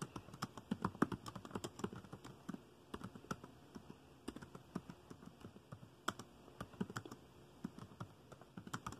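Fingertips of both hands type on a dark plastic laptop keyboard, tapping the keys in a quiet, steady, uneven run of short clicks. Each keystroke is dry and dies out almost instantly, with a soft low thud under a light, bright tick.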